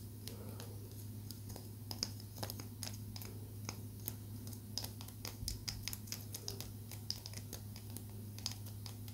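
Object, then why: Small palo santo wood stick. A small, solid palo santo wood stick held in both hands is tapped with long nails, giving a rapid, irregular run of short, dry, bright clicks that die away almost instantly. A steady low hum sits beneath the tapping throughout.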